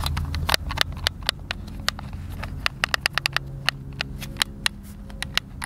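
A hand-sized, hollow white plastic Xbox controller is held in both hands while fingertips and thumbs press and click its buttons. A quick, uneven run of sharp, bright plastic clicks stands out over a steady low hum, each click dying away almost instantly.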